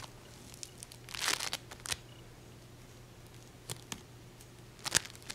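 A small solid ball of peach and green modeling foam made of tiny polystyrene beads is held in the hand, squeezed and scratched with long painted fingernails. It gives bright, crackly crinkling bursts, with a dense cluster early on and sparser sharp scratches later, over a faint low steady hum.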